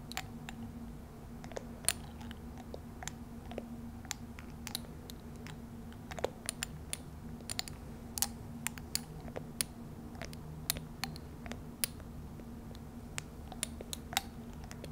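Long dark-painted nails tap and click on a small, hollow clear glass cosmetic serum bottle that appears partly filled with liquid, striking both the glass body and its metal and rubber dropper cap. The sharp, bright clicks come in quick irregular bursts with almost no ring. Beneath them sits a steady low hum.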